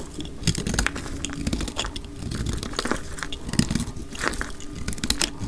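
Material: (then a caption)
Soap. A solid purple marbled dry soap bar, held in the hand, is shaved and cut with a utility knife blade, sped up to double speed. A dense run of dry, crisp crunches and scraping cuts overlaps with little pause, full in the low end with bright, gritty edges. Each cut stops dead with no ring.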